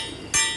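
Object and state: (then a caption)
Uncracked transmission case. A single knock on a small, easily cracked area of a 2020 Hyundai Sonata DN8 automatic transmission case near a bolt, done during a teardown to check for cracks. It gives a sharp, bright, solid tap that rings briefly over a faint background hum. It sounds solid with no rattle, so the case has no crack.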